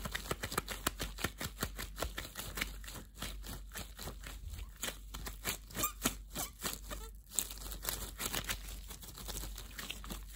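Translucent thin clear plastic disposable gloves worn on both hands crinkle as the fists clench and the gloved fingers rub together. A dense, steady run of quick, bright plastic crackles and rustles continues throughout over a faint low hum.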